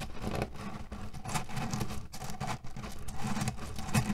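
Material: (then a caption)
Cherry pits. A cotton canvas pillow filled with cherry pits is rubbed with flat hands and scratched with nails. The result is a steady, dense rustle and clatter of shifting pits, with a heavy low-end rumble and soft swells as the hands move across the fabric.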